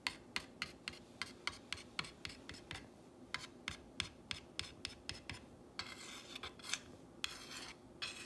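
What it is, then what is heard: Painted wooden sign scratched with a fingernail. A long fingernail traces and scratches the painted letters of a solid, whitewashed wooden plank sign reading "You make me happy." It makes a quick series of short, bright, dry scratching strokes. Near the end these turn into longer, continuous rasping passes.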